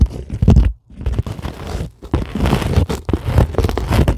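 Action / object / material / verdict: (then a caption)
scrape / polyethylene foam sheet / polyethylene foam / none. Long glittery acrylic nails scratch across a flat, solid sheet of white closed-cell polyethylene foam. The result is a dense, low, crunchy scraping with a brief pause near the start and another around the two-second mark before the scratching resumes.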